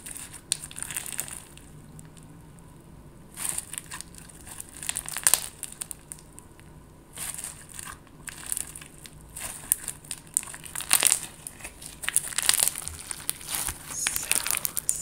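Hands with long gold nails squeeze and crumple a large, soft yet solid clear slime filled with colorful plastic flower sequins, held close up. Bursts of bright, crinkly crackling come in several clusters between quieter stretches, with quick squelchy pops and no lingering ring.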